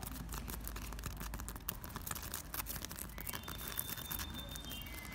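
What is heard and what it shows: Two hands quickly scratch a large, solid, rough plaster or concrete wall with cracked, peeling patches, using their fingertips and short nails. The result is a dense, continuous rasping and scraping with rapid gritty bursts over a low rumble. A faint steady tone appears near the end.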